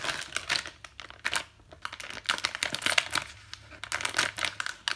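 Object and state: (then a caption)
Plastic zip bag. A clear, thin plastic zip-lock bag holding a round yellow item is handled and squeezed by fingertips with long white nails. The plastic gives off bright, dry crinkles in quick, irregular bursts with almost no low end.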